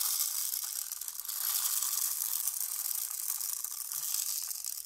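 A tall, clear plastic rain stick tube, about 40 cm long with a green cap and filled with colourful small beads and pins, is held upright and turned and tilted by hand so the beads cascade inside. The result is a steady, bright, sizzling patter of countless tiny ticks that flows continuously throughout, with almost no low-end weight.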